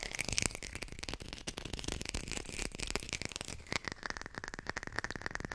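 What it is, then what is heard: Artificial textured lime. A textured artificial plastic lime is tapped quickly and recorded with a hi-fi microphone. The result is a dense run of dry, bright, clicky taps with almost no ring, and a faint steady tone near 2 kHz in the second half.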